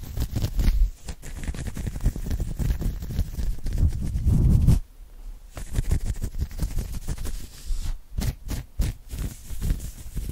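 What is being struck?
Knit cotton polo shirt.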